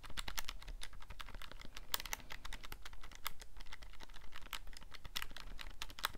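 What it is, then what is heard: Plastic calculator buttons clicking. The buttons of a handheld black plastic scientific calculator with a hollow casing are clicked quickly by thumbs and fingertips while it is held in both hands. The result is a rapid, uneven stream of short, dry, bright clicks that stop almost instantly, over a steady low rumble.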